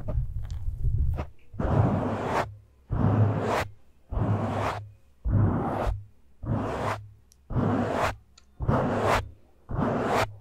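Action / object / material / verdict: scrape / foam microphone windscreen / foam / none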